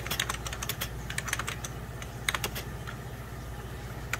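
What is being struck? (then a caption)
Plastic computer keyboard. A full-size 90s Packard Bell keyboard, with beige plastic keys over a hollow plastic case, is typed on rapidly with fingertips and short nails. Quick, dry, bright clicks and taps of plastic keys, with a hollow ring around 2 kHz that dies almost at once, sit over a steady low hum.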